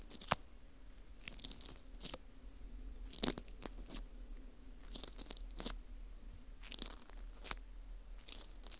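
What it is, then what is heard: Dried wheat gluten ring (fu) scraped. A teal plastic scraper rubs across the face and into the hole of a porous dried wheat gluten ring (fu), breaking off crumbs. Quiet, close, dry crunchy scrapes come in short, bright crackling bursts with brief sharp snaps, over a faint steady low hum.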